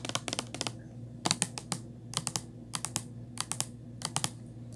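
Long nails tap a small white Crest plastic mouthwash bottle with a ridged cap as it lies on its side. Quick clusters of sharp, bright, dry clicks sound over a steady low hum, each tap dying away almost at once.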